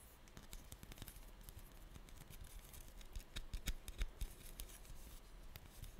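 Long glittery nails tap and scratch a small, orange, glossy dried-clay pumpkin that seems solid and is held in the hand. Quiet, irregular, sharp clicking taps with short bright scraping strokes sound about three times a second over a soft low rumble. Each tap is dry, with almost no ring.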